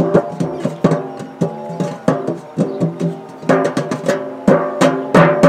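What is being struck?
Round metal biscuit tin.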